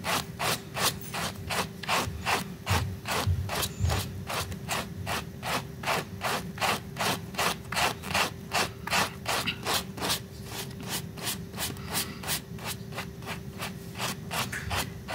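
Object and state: Fabric rug scrubbed with a brush.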